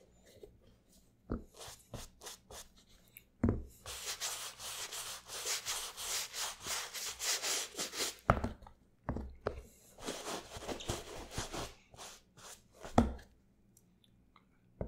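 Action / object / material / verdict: scrape / leather and rubber sneaker / leather, rubber / none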